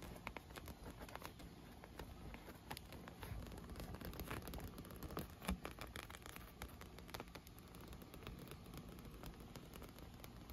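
Long nails and fingertips tap and scratch across a large inflated clear PVC vinyl pool lounge with rainbow-colored tubes, hollow and air-filled. A dense, steady patter of quick, soft taps mixes with rustling scratches, its hollow body giving a low thump beneath faint bright clicks. A few slightly louder taps stand out, with the loudest near the middle.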